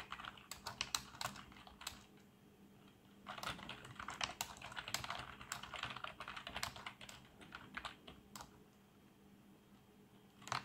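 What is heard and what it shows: Both hands type with their fingertips on a black plastic membrane keyboard with RGB backlight. Bursts of short, soft, bright key taps cluster into rapid runs, separated by quiet pauses, with a faint steady low hum underneath.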